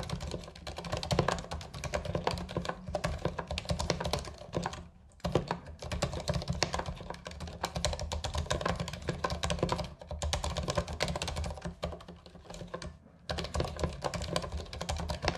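Both hands type with their fingertips on a white Ducky compact mechanical keyboard with plastic keycaps and a cable, resting on a fabric surface. A rapid, steady stream of short, clacky keystrokes with a deep, thumpy body keeps up throughout, with brief pauses near the 5- and 13-second marks.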